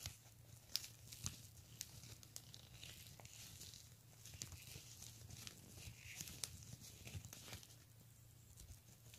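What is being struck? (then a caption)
Plastic beaded handbag. Fingernails scratch and tap along the pink and clear beads of a pink plastic beaded handbag. Quiet, bright clicks and crinkly scratching come in scattered bursts over a steady low hum.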